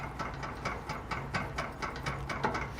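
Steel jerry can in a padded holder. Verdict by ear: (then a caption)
Tight. An empty 5-gallon NATO-style gas can is shaken back and forth in a locking jerry can holder with rubber pads on its bars. The result is a soft, rapid series of hollow clicks and knocks rather than a loud rattle. The can stays held firmly, and the little noise it makes comes from the can being empty and hollow.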